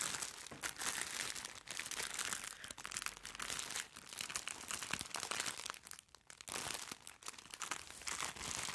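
A medium-sized, soft, white plastic-wrapped package is held up and crinkled by gloved fingertips. The result is a dense, bright, continuous crinkling and crackling with very little low end, briefly easing off around the six-second mark before picking back up.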